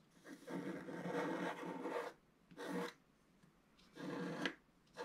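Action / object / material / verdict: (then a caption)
scrape / black-coated scratch art paper scratched with a wooden stylus / coated paper / none. A wooden stylus scratches waves into a flat, solid, black-coated scratch art page of about A4 size. It makes dry, raspy scraping strokes: one long stroke, then shorter ones separated by quiet gaps.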